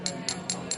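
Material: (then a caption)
Ceramic. A ceramic mug filled with cold water is tapped on the bottom four times before any Alka-Seltzer is added. Each tap gives a short, bright ringing note that fades within about a tenth of a second. The pitch is normal for water without bubbles.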